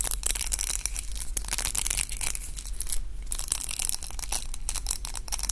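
A pink round roller hair brush with dense plastic bristles and a long wooden handle is held in both hands and twisted and rubbed between the fingers. The bristles make a steady stream of dry, crunchy crackles with bright, scratchy highs over a faint low rumble.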